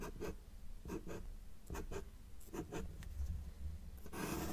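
A felt-tip marker held in the fingers makes short strokes on a flat white paper sheet resting on a table's solid surface, drawing small trees. The result is a series of quick, dry, scratchy marker-on-paper strokes, often in close pairs, over a low, quiet rumble, ending in a longer, brighter rubbing stroke.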